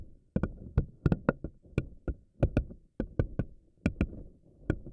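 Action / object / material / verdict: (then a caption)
flick / silicone spiky ball / silicone / none. Long nails pinch, stretch and release the thin rubbery tentacles of a pink silicone spiky anemone ball so they snap back. A quick, irregular series of fifteen short, dry snaps follows, each a sharp click over a soft low thump that dies at once, with a faint low rustle between them.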